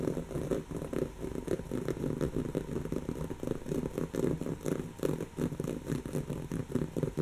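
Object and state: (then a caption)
Woven fabric pillow being scratched. Long natural fingernails of one hand scratch a soft, stuffed, brown textured woven-fabric cushion. The result is a steady run of quick, dry, scratchy rasps with a soft, muffled, low-mid body, each stroke short and without ring.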